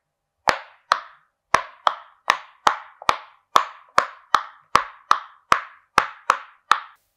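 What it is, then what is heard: Silicone pop-it fidget toy. Fingertips of both hands press the hollow bubbles of a flat, hand-sized rainbow silicone pop-it fidget toy shaped like a game controller, popping them one after another. Sixteen short, hollow pops sound at a steady pace, each a dry midrange tap centered near 1.1 kHz with a quick bright click at the start and almost no ring.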